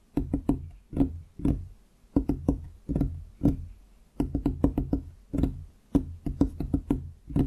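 Fingertips of both hands tap on a large solid wooden desktop on each side of the microphone, producing short, dull knocks with a hollow woody tone. The taps come in irregular clusters and bursts with brief pauses, each one dying away almost instantly with a low thump.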